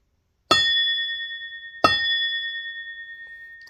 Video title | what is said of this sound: Why am I Putting 4L80E parts in My TH-400?! | this rings like a bell,